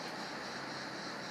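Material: Nothing is struck.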